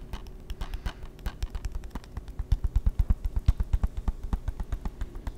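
A closed, hollow hard-plastic PS3 game case is held in the hands and tapped with fingertips and nails. The result is a quick, irregular stream of short, dull knocks with a low hollow thud and crisp clicks from the nails that stop almost instantly.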